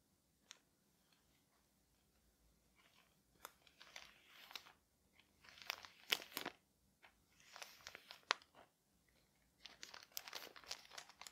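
Fingertips pat and rub the thin white paper wrapping of a flat parcel with a small label, making the paper crinkle. Quiet, bright crinkling and rustling comes in irregular clusters, with occasional sharper taps and near silence in between.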